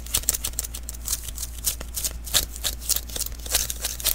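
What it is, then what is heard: Sticky lint roller refill. Fingertips tap and pat the sticky surface of a small hollow adhesive paper roll, a lint roller refill, first lying on a table and then held in the hands. A quick, irregular run of short, bright, crackly tacky pops and peeling snaps sits over a steady low hum.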